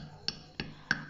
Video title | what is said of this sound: 🤤 পারফেক্ট আনন্দ নাড়ু রেসিপি/Perfect Anondo Naru Recipe/Naru Recipe/Tiler Naru Recipe | এই আওয়াজ শুনেই আইডিয়া করা যায় নাড়ুগুলোর বাইরেটা কতটা খাস্তা হয়েছে